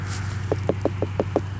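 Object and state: Hollow-sounding pumpkin.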